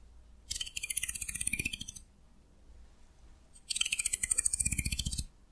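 A solid wooden hair comb is held at an angle while an index fingernail runs along it and plucks the teeth. Two passes of rapid, bright clicking ticks are heard, each lasting about one and a half seconds with a short quiet gap between them.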